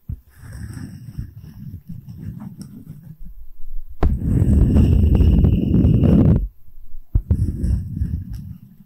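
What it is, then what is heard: Wooden tree slice tapped and scratched. A solid wooden tree slice coaster with bark is held flat while its top is tapped and scratched with long nails, giving low, dull knocks and scraping. A quick run of taps opens the clip, then a louder, steady scratching sound builds in the middle before the tapping returns toward the end.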